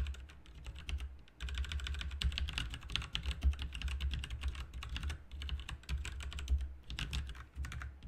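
Fingertips of both hands type continuously on a full-size backlit plastic mechanical RGB computer keyboard, with plastic keycaps on a hollow plastic/metal case. The result is a dense stream of short, bright clicky taps over a steady low thump, broken by brief pauses, with each keystroke dying away almost instantly.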